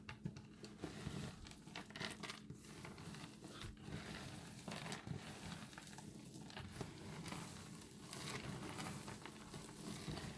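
A pile of dry, multicolored recycled soap chips on granite is pinched with fingertips, then scooped up in cupped hands and poured back down. The result is a quiet, continuous dry crinkling and crackling, with soft pattering as the crumbles fall and settle.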